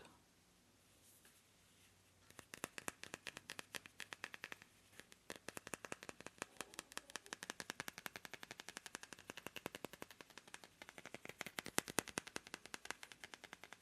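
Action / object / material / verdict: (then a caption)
tap / polished moonstone / moonstone / none. A smooth, polished moonstone is tapped rapidly after about two seconds of quiet, producing a long run of some 99 sharp, bright clicks. Each tap is very short, with no ringing.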